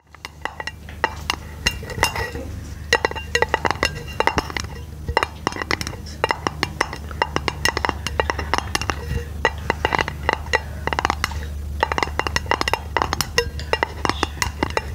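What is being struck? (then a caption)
Thin round aluminum lid. A flat, round, hollow silver aluminum lid held over a microphone is tapped rapidly with long pink nails. The taps give short, bright metallic clicks with a ringing tone near 900 Hz, over a steady low hum.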